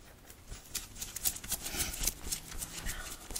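Fingertips and nails of both hands quickly scratch and rub a thin red cotton t-shirt worn on the body, over the chest and belly. The result is a rapid, uneven run of bright, dry scratching bursts with soft low thumps underneath, at a fairly low level.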